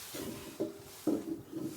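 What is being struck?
Nothing is struck.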